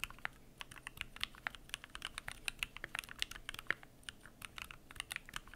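Fingertips type continuously on a Keychron Q1 aluminum mechanical keyboard with PBT plastic keycaps. Quick, sharp, bright clacks land in an irregular stream, each with a clicky mid-high tone and almost no ring. Deeper thocks are faint.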